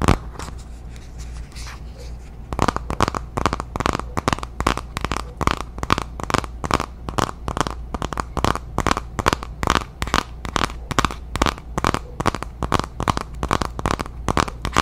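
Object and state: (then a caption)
Cardboard palette box tapped with nails. Long nails scratch and then tap rapidly on the front of a small, flat, dark cardboard Violet Voss eyeshadow palette box held in both hands. A soft, papery scratching in the first couple of seconds gives way to a fast, steady run of dry, crisp clicks with a midrange knock and no ring. A constant low hum sits underneath throughout.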